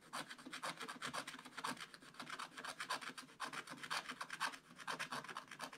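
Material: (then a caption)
Coated card. A wooden stylus scratches across a black-coated scratch-art card page in a spiral-bound book lying flat and solid on a table. Quick, dry, bright rasping strokes repeat in an uneven rhythm, each one short with almost no ring. The stylus scrapes the black coating away.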